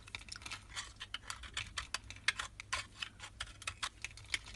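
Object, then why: Bar of soap scraped with a knife blade. A solid white Marseille soap bar held in the hand is scraped with a utility knife blade in a quick series of short, crisp, bright scraping strokes. The strokes come close together at a low level with little low end, shaving the soap into powder and flakes.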